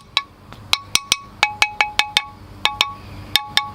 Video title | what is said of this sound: Collected Larch and Crown of Thorns Update, The Bonsai Zone, Sept 2018 | a pot that's not cracked, it rings like a bell